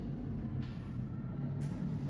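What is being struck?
Nothing is struck.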